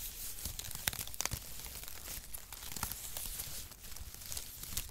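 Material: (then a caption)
Cardboard. Brown cardboard packaging shreds, pressed into a flat mat and held across both palms, are squeezed and crumpled with the fingers. The result is a steady, quiet run of dry crinkling and tearing crackles with bright, crisp snaps over a low rumble.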